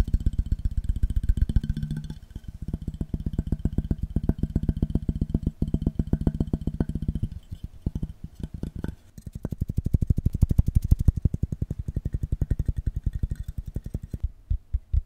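A metal object is tapped rapidly with the fingers in a dense, uneven stream of short, dry, low-pitched knocks. The taps continue with a few brief pauses throughout.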